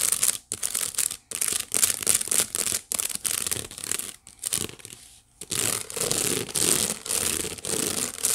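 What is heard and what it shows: Long white-painted fingernails scratch the woven bottom of a medium, hollow, empty white painted wicker basket. Bright, dry rasping strokes come in irregular bursts separated by brief pauses, with most of the sound sitting in the high range and very little low rumble.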